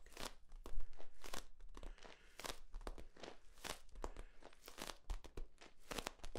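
Hands squeeze and crinkle the ribs of a long, hollow, flexible yellow corrugated plastic tube held horizontally. Irregular bursts of crunchy, crackling crinkles sweep from a low rumble up to bright highs, separated by short quiet gaps.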